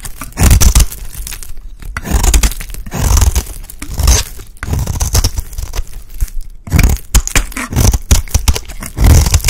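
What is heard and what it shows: A utility blade scrapes a solid, dry, green rectangular bar of soap held in the hand into fine shavings. Repeated rough scraping and tearing strokes come in bursts with a heavy low rumble and a faint bright crackle. The strokes are separated by brief quiet gaps.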